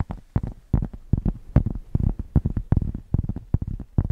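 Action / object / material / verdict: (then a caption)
scrape / thick cork square / cork / none. A thick, solid cork square held near the microphones is scratched with long nails and fingertips. The result is a run of short, irregular, deep scraping strokes that sound muffled and bassy, with almost no bright edge. Each stroke dies away quickly.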